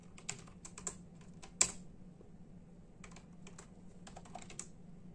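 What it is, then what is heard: Plastic computer keyboard being typed on. Bare fingertips of both hands tap sparsely on a full-size black and silver plastic membrane computer keyboard with hollow keys. The keys give short, bright, clicky taps in uneven bursts, with one sharper, louder tap early on. A faint steady low hum sits underneath.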